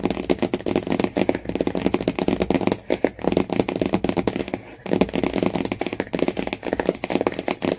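Long nails and fingertips rapidly scratch and tap across a Jungle Book hardcover book lying flat, with a yellow cloth-bound spine and a glossy printed cardboard cover, which sounds solid. Quick, dry, clicky taps mixed with scratchy strokes sit mostly in the low-mid range and die away almost instantly. The flurry briefly pauses near three seconds and again near five seconds before continuing.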